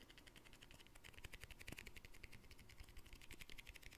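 A small round glass jar with a green plastic lid is held and turned in the hands while fingertips and nails tap and scratch its surface and rim. Rapid, quiet, bright clicks and ticks follow one another with a hollow, low undertone. The taps are dry, with almost no ring.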